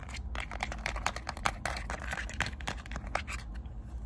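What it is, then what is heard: Plastic remote control tapped. Fingertips and long nails tap the rubber buttons and casing of a small, hollow plastic LED remote control, held close up. Quick, dry, clicky taps with bright edges follow one another in a loose, uneven rhythm over a steady low hum.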